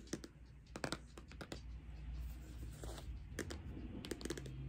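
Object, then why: Cardboard eyeshadow palette tapped with nails. Long acrylic nails tap on the face and edges of a closed pink Too Faced cardboard eyeshadow palette. Short, dry clicking taps come in scattered bursts and die away almost instantly, over a steady low hum.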